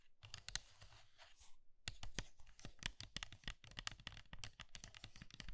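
Long red nails scratch and squeeze hollow pink and blue dry soap curls in a pink soap bowl. A scratchy, hissing rustle gives way after a brief pause to a rapid stream of dry, bright crunches and crackles with a soft low thump beneath them.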